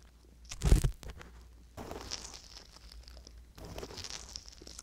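A wooden-handled metal ear pick scrapes around the opening and inside the canal of a soft silicone ear on a hollow white binaural microphone body. A loud, close crunching scrape is followed by two longer stretches of dense, crinkly scratching with a bright hiss, over a low rumbling undertone.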